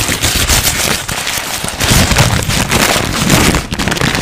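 A thin, crumpled white paper sheet is held close to the microphone as both hands crinkle, scrunch and rub it with the fingertips, then unfold and shake it. The result is a dense, continuous crackle with sharp bright snaps over a rustling low end, loud and steady throughout with brief dips.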